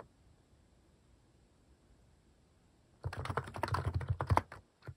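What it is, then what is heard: Plastic mechanical keyboard typing. Fingertips type on a plastic mechanical keyboard fitted with cat-shaped plastic keycaps. About three seconds of near silence give way to a quick, uneven run of short clacky key presses with a low thump under each. A last press lands just before the end.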